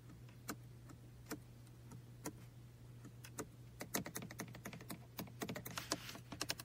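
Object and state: Plastic toy car computer mouse.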